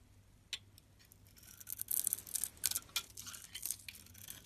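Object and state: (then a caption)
Bar soap being shaved. A utility knife blade scrapes and shaves the outer layer off a pink pearlescent, hand-sized oval bar of solid soap held in the palm, exposing the white interior. The sound is a string of quiet, bright, crisp scratchy shavings that start sparse and grow denser and louder toward the middle, with no low-end body.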